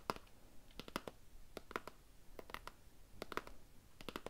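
A small, hollow, rectangular cardboard gift box with a floral paper print and ribbon is held upright in one hand and tapped and scratched with fingernails. The result is quiet bursts of quick, crisp clicks with a dry papery scratch, and each tap dies out almost instantly.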